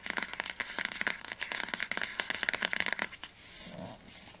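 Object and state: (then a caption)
Hardcover book spine tapped with nails. Long nails tap fast on the spine of an upright orange hardcover book, making a rapid run of sharp, dry, clicky taps that are bright and thin with almost no low end. After about three seconds the tapping stops and gives way to a quieter, soft scraping rustle.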